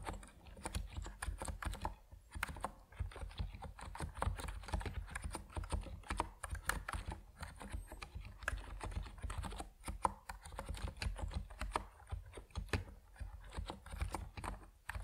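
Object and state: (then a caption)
Plastic mechanical keyboard with PBT keycaps. Fingertips type steadily on an Epomaker NiZ Plum Atom 68, a compact plastic mechanical keyboard with white and purple PBT keycaps. A continuous run of quick, short keystrokes sounds as dense, dry clacks with a deep, muffled thock underneath, each one dying away almost instantly, with brief pauses between bursts.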